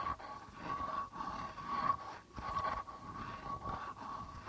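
Fingertips and nails scratch and tap near the rim of the white plastic membrane on a hollow, hand-held darbuka with a reddish lacquered body. The result is a continuous dry, crunchy scraping with a faint steady ringing tone around 1.1 kHz running through it, broken by a few brief dips between strokes.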